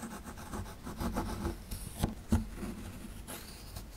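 A small solid plaster excavation block, held in the hand, is scraped with a metal pick tool. A steady run of dry, gritty scratching gives way to two sharper knocks near the middle before the scraping carries on.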